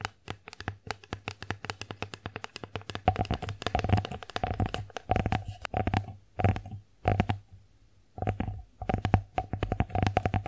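Long nails tap an empty wooden bear-face plate, first on the flat face and then along the raised rim edge. The result is a quick stream of short, dry clicks with a soft, low wooden knock beneath them. The taps grow denser and louder partway through, with a few brief pauses before the tapping resumes.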